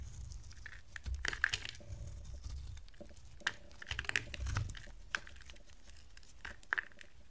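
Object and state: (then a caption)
Dry bar soap being shaved. A box cutter blade shaves yellow curls off the edge of a solid, dry, oval yellow bar of soap held in the hand. Soft, crisp scraping and crunchy cutting strokes come with sharp, bright clicks over a quiet low rumble.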